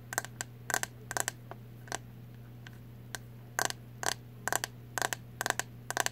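Long nails tap quickly on the hollow, translucent green plastic back of a hairbrush with bristles. About 18 short, bright clicks with almost no ring come in uneven bursts. A steady low hum runs underneath.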